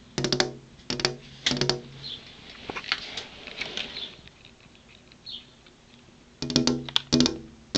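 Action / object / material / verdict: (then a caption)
tap / glass window pane / glass / none. Fingernails tap on a glass window pane in quick clusters of sharp, bright clicks with a short glassy ring and a pitched tone in the low mids. Between the louder bursts at the start and end, softer light taps and faint scratchy contacts continue across the glass.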